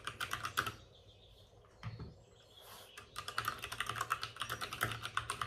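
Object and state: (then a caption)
Plastic mechanical keyboard. Both hands type rapidly with their fingertips on the plastic keycaps of a white, backlit RGB plastic mechanical computer keyboard resting on a desk with a padded wrist rest. A quick burst of sharp, bright clicks gives way to a quiet pause with a single soft low thump. Then fast, steady clacking resumes and runs to the end.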